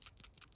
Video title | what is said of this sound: RevUp Honda Accord Donation January 23, 2025 | when you shake it, you'll hear it a little bit of a rattle inside